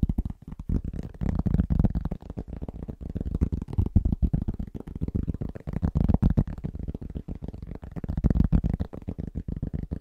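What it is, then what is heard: Cork trivet. Both hands tap their fingertips rapidly over a large, round, flat, solid cork trivet. The result is a fast, loosely rhythmic stream of soft, dull, low thuds that die away almost instantly, with almost no bright content.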